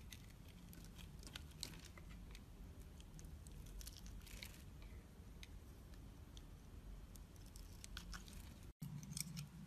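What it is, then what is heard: Soap bar being carved. A utility knife blade slices and scrapes thin layers from a solid pale pink soap bar held in hand. Soft, crisp scraping and crunchy crackles come in quick, bright bursts over a steady low rumble. The sound cuts out for a split second near the end before the scraping resumes.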